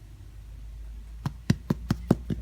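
Six short, hollow knocks ring out from the bottom of a fresh homemade loaf of bread tapped just after it comes out of the oven. The dull, low thumps die away almost at once, and the hollow sound shows the bread is done baking.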